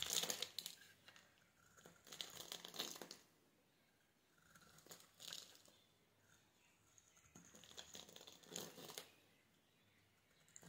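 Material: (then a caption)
Soap. A metal utility knife blade scrapes and cuts small cubes off the edge of a solid, hand-sized green oval soap bar, pre-scored into a fine grid and held in one hand, with the bits falling onto a wooden surface. Soft, bright crinkly scraping comes in several bursts separated by near-silent pauses.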